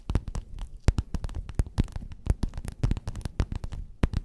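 Long nails rapidly tap and scratch a flat, padded, gold metallic quilted faux-leather cover. The result is a quick, irregular run of dull, muffled thumps with short crackly scratches between them. Each tap dies away almost instantly, with no ringing.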